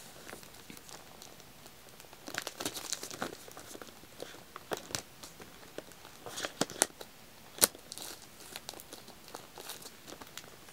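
Fingertips scratch and tap the black label and plastic film of a full, shrink-wrapped pack of white wax tealights. The result is a quiet, bright crinkling and scratching, broken by sharp little taps that stop dead with no ring.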